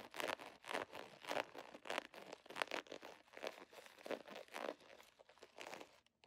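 A handheld iridescent holographic plastic foil pouch with a scale pattern is scratched, tapped and crinkled with long nails. Rapid, dry crinkling and scratchy bursts come in a fast, uneven rhythm, bright and midrange with almost no low end. Each burst cuts off quickly.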